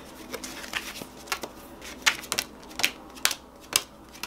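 Fingertips shuffle and square up a hand-sized, solid stack of purple-backed paper playing cards, rubbing and sliding the cards against each other. Brief, bright papery snaps and flicks stand out over a quiet rustle, each dying away almost at once.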